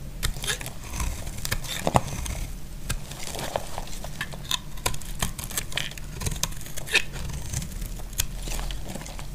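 A utility blade scrapes long curled shavings from a solid, dry brown bar of soap. Repeated crisp, crackling scrapes come through as sharp bright clicks over a steady low rumble, each stroke stopping quickly with no ring.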